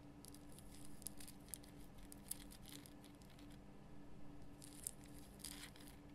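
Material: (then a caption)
Rock salt. Long fingernails scratch quickly over the rough crystal surface of a large pink Himalayan rock salt lamp. Soft, bright, gritty bursts of scraping come in quick runs with a few sharp ticks, over a steady low hum. The scratching briefly pauses before resuming.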